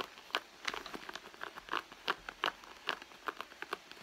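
Long nails scratch and pinch the soft leather at the front pocket of a hollow red leather handbag resting on a mat. The result is quiet, dry, irregular scratchy taps and crinkles that die away almost instantly, with bright mid-to-high tones and no low end.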